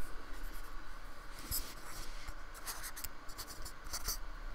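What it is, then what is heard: Styrofoam block being brushed. A fine paintbrush makes quick dabbing and rubbing strokes on the beaded surface of a small painted square of solid polystyrene foam held by fingertips. The result is soft, dry scratching and brushing with brief bright crackly flicks over a steady low hum.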